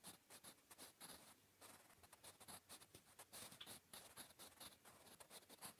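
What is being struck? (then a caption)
Graphite pencil on lined paper. A blue wooden graphite pencil scratches across a flat grey lined notebook page while writing Korean. It makes a quiet, rapid series of short, dry, bright scratching strokes with little low end, each stroke fading quickly.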